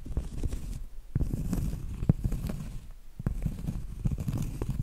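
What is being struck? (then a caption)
Cork trivet. Medium acrylic nails tap and scratch on a round, flat, solid cork trivet held close. The result is a soft, dull, low-pitched patter of short, dry taps mixed with a scratchy rustle and no ring.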